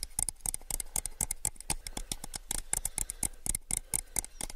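A small, hollow, empty clear plastic cup is held upside down and tapped on its base and sides with fingertips. A rapid, uneven series of light, dry taps follows, each a bright, clicky snap over a soft low thump that dies away almost instantly.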